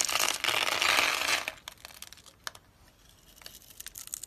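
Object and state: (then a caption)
Dry soap bar. A utility knife blade scrapes and cuts across the pre-scored surface of a palm-sized, solid pink dry soap bar held in a hand with long white nails, chipping off small cubes. A dense, bright, crunchy scraping fills the first second and a half, then gives way to quieter, scattered sharp clicks and crackles as the cubes break away.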